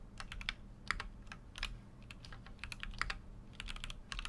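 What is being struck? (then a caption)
Mechanical keyboard with aluminium case and plastic keycaps. Fingertips type continuously on a full-size Keychron Q6 mechanical keyboard with an aluminum case and plastic keycaps. Quick, bright, tapping key clicks with very short decay come in uneven bursts over a steady low hum.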